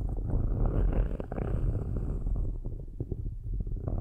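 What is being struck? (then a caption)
Metal mesh microphone grille scratched with metal stick tips. Metal stick tips scratch slowly in circles over the metal mesh grilles of two black microphones. The result is a dense, low, rumbling scrape with a purr-like texture, broken by soft irregular ticks and almost no high end.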